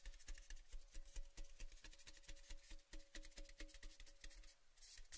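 Fingertips tap and rub along the painted side of a tall, cylindrical, orange-painted metal Baileys gift tin tube, hollow and empty and held in both hands. Quick, soft taps land at a fairly steady, rapid pace, each with a short, hollow metallic ring carrying faint tones around 300 and 600 Hz. The clip ends in a brighter, hissing rub.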